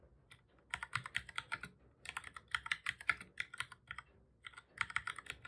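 Fingertips of both hands type on a black full-size plastic computer keyboard, pressing the keys over and over. Crisp, bright plastic clicks come in three quick bursts of about thirty taps, separated by short pauses, each tap dry and brief with almost no low end.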